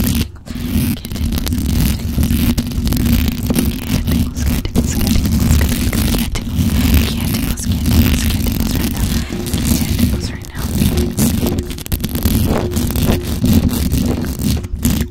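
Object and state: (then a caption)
Metal mesh microphone grille being scratched. Long acrylic nails scratch fast and hard across the hollow metal mesh grille of a black microphone. The result is a dense, continuous rumbling scrape, heavy in the low end with a faint bright hiss, holding a steady loud level with only brief dips near the start, around ten seconds and at the end.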